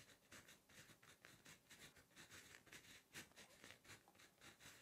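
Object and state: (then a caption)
Pen writing on a notebook page. A plastic Inkjoy 0.5 ballpoint pen, held in the fingers, writes Korean text on a lined page of a spring notebook lying flat on a solid surface. Quiet, bright pen-tip scratching comes in about 13 short strokes, each fading almost at once.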